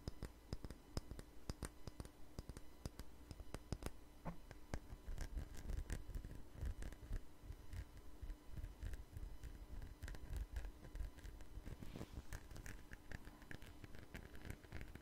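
A small jar with a red label and lid, held in the hand, is scratched and tapped with fingernails. Quiet, rapid, dry clicks and soft scratching run steadily throughout, mostly low in tone with occasional brighter ticks and a faint steady hum underneath.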